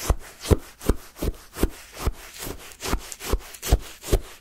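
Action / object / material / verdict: scrape / frozen sherbet in a paper cup scraped with a wooden stick / ice / none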